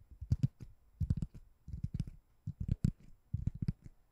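A white ring-shaped foam door stopper, looking like solid foam or rubber, is held above the microphone and tapped and scratched with long nails. It gives soft, dull, low thuds with faint scratchy clicks, coming in irregular clusters with brief quiet gaps. Each tap dies away almost at once, with no ring.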